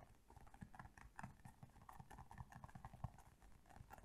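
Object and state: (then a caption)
Plastic toy figure. Long painted nails tap quickly on a small, colorful, hand-sized hollow hard plastic toy figure with bunny ears. The result is a fast, uneven run of soft, dull, hollow clicks with a low thud under each and almost no ring.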